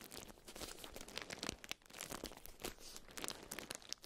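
A watermelon-print beeswax-coated cotton food wrap around a round item is squeezed and crinkled in both hands. It makes a steady, quiet run of dense, bright crackling and crunching, with short, sharp bursts that stop dead without ringing.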